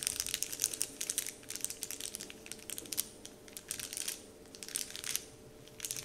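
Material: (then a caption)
Plastic film. Fingertips tap, rub and crinkle a large, flat, heart-shaped "Dove" printed wrapper sheet lying on a table. Bright, crisp crackles and rustles come in bursts separated by short, quieter pauses, with a faint steady hum underneath.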